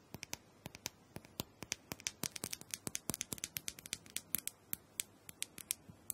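A small, round, hollow plastic massager with a clear dome top is held in one hand while long acrylic nails tap and scratch across the dome. The result is a rapid, irregular run of sharp, bright, dry clicks with almost no ring, separated by faint scratchy rustling.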